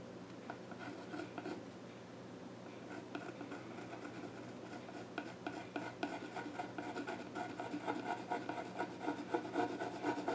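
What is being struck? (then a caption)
Pencil on a wooden stool top. A pencil tip is drawn across the flat top of a solid, dark-stained wooden child's stool, scratching sketch lines. Soft, raspy strokes repeat in an uneven rhythm, mostly mid-pitched with a faint hum underneath. The strokes grow busier and slightly louder toward the end.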